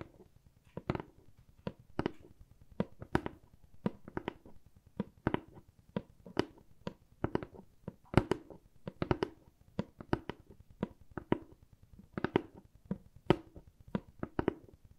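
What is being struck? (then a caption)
Corrugated cardboard box. A hollow, medium brown corrugated cardboard box is tapped with long nails and fingertips in a steady, irregular run of quick taps. Each tap is short and dry: a soft, low, hollow thump with bright clicks from the nails, and no ring after it.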